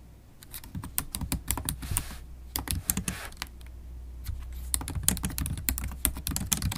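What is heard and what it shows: Long stiletto acrylic nails and fingertips type on a MacBook Pro laptop keyboard with low-profile black plastic keys set in a silver aluminum body. Quick, irregular clicky taps with bright sharp edges decay almost instantly over a steady low hum, with bursts of faster typing toward the end.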